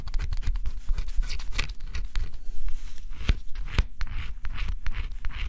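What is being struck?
Cardboard scratch-off jigsaw puzzle.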